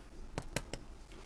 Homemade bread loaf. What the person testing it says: it sounds hollow. That's what you want. That means it's done.